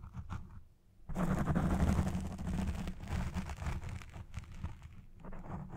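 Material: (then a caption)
Foam. Long red fingernails on both hands scratch the front and sides of a black foam windscreen on a Blue Yeti Pro microphone. After a brief quieter stretch of light scratching, a dense, loud, rumbling scratch begins about a second in and continues with a fast, uneven texture, easing slightly toward the end.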